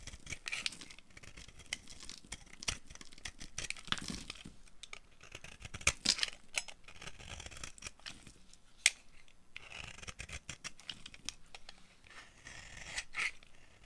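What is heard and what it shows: A metal blade shaves a solid, dry orange soap bar held in the hand into crumbly curls. The carving makes a run of crisp, bright scraping strokes with dry crackles and short, sharp flicks, and little low-end weight.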